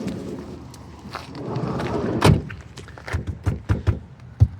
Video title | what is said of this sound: Nissan Elgrand: 1 Year & ~10k miles later - Long term review | this is a solid one. This one doesn't move. There's no noise.